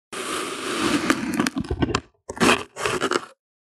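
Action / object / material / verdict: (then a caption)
scrape / kinetic sand pressed and cut by a plastic bottle rim / sand / none. A flat, solid slab of pink kinetic sand on white paper is pressed and cut by the rim of a broken clear plastic bottle held in hand. A long, gritty scraping crunch is broken by sharp crackles, then two shorter crunchy bursts follow after brief silences. The sound is mid-pitched and grainy, with bright, dry crackle and no ringing.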